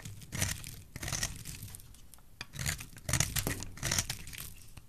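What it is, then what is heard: Dry bar soap being scraped. A utility knife blade scrapes and cuts thin curls off a solid, dry, hand-sized yellow bar of soap held in one hand. Repeated crisp, crunchy strokes carry a bright, papery rasp over a soft low body. Each stroke stops dead, with short gaps between them.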